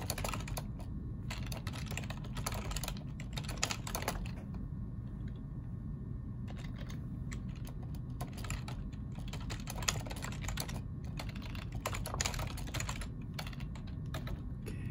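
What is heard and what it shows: Fingertips of both hands type continuously on a black plastic ergonomic computer keyboard, producing bursts of quick, bright key clicks. The typing pauses briefly partway through. A steady low hum runs underneath the whole time.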